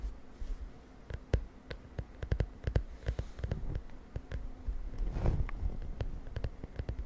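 Long nails tap and scratch the lilac plastic cover of a spiral notebook resting on a bed. The result is a quiet, irregular series of short, dull, low-heavy clicks with almost no ring, and a brief swelling scratch near the middle-end.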